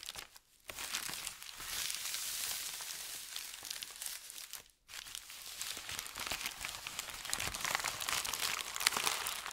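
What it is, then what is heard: Thin paper sheet being crinkled. A flat, crinkled sheet of thin white paper is rubbed with the fingertips, gathered and crinkled, then smoothed. The result is a dense, bright crackling and rustling that runs almost continuously, broken by two brief quiet pauses, with almost no low end.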